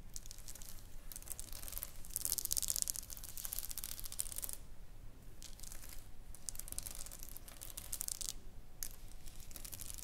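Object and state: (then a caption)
Plastic rhinestone sticker sheet. Long nails scratch and tap across a flat pink sheet covered in small plastic rhinestones, lying on a wooden table. The result is dense, bright, crackly scratching in bursts, with brief quieter gaps around 4.6 and 8.5 seconds.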